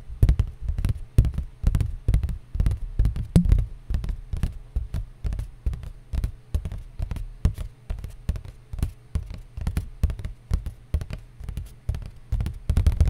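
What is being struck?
Cardboard surface.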